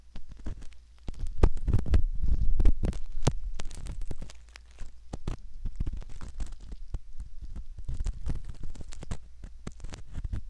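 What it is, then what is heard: Silicone ear model being scraped. A straight metal pick rubs and scratches at the canal of a soft silicone ear model. The result is a close, muffled stream of soft scraping and crackling with low thumps. The activity is busiest in the first few seconds, then settles into quieter, irregular rubbing.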